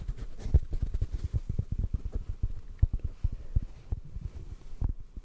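Fingertips tap quickly on a black foam microphone windscreen, giving a rapid, uneven stream of soft, muffled thumps. The sound is deep and dull, sitting almost entirely below 200 Hz, with no ring after each tap.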